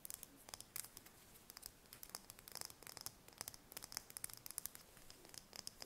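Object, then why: Chicken eggshell. Long red nails tap and scratch a single thin-shelled brown chicken egg held in the hands. A quiet, irregular stream of quick, bright clicks and scratchy ticks follows, each dying away almost instantly, with almost no low end.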